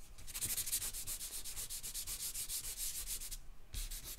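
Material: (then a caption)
Paper. A hand sketches on a large white drawing paper sheet lying flat on a marble table on a black board, rubbing and scratching it with a charcoal pencil or stick. A quick, steady run of short, bright, hissy scratching strokes fills the clip, with a brief pause near the end before the strokes resume.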